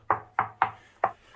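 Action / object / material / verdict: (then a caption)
knock / reinforced plastic bathroom wall panel over tile / reinforced plastic / none. Five knocks on a new reinforced plastic bathroom wall panel installed over the existing tiles. Each knock is a short, dull, hollow thud centred around 770 Hz that dies away almost at once, sounding different from tile.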